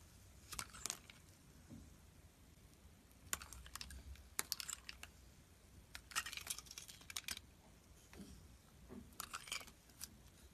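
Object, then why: Solid bar of soap. A metal utility blade slices thin curled shavings off a solid white, hand-sized bar of soap held in the hand. Short, bright, crisp crackling scrapes come in clusters separated by quiet pauses, each cut dying away almost instantly over a faint low background.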